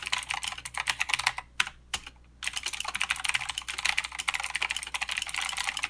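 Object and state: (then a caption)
Mechanical keyboard with plastic keycaps, clicky switches. Fingertip typing with both hands on a mechanical keyboard with plastic keycaps and clicky blue switches gives a rapid run of sharp, bright clicks. The clicks stop briefly for about a second near the middle, then the typing resumes steadily. Each keystroke is short and dry, with almost no low end.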